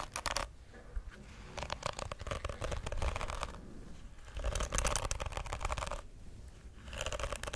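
Long acrylic nails scratch and flick across the dense plastic bristles of a pink, hand-sized plastic detangling hairbrush with a hollow shell, held beside the microphone. Bursts of dry, crackling rasps with a bright edge come in several clusters, separated by brief quieter pauses over a low rumble.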